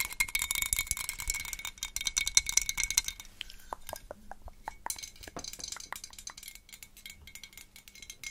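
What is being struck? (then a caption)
Small hollow glazed ceramic pumpkin. Long pointed acrylic nails tap and scratch a small hollow glazed orange ceramic jack-o'-lantern with a cut-out face, held close to the microphone. A dense, bright rasp of scratching and quick clicking fills the first few seconds, then gives way to sparser, sharp ticking taps with very short ring.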